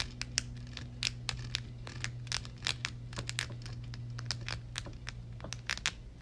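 Long red nails rapidly tap and scratch the hollow, dark metal mesh grille dome of a Blue Yeti microphone. It produces a fast, irregular run of sharp, bright clicks and scratchy crackles. A steady low hum sits beneath them throughout.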